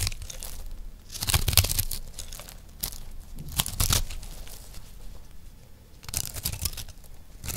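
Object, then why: Recycled soap disc scraped with a metal knife. A dry, round, solid, purple-dominant recycled soap disc is held in one hand and scraped with a metal knife blade. Irregular bursts of dry, crumbly scraping and crunching come and go, bright and gritty on top with a soft low body beneath. Quieter rasping fills the gaps between the louder strokes.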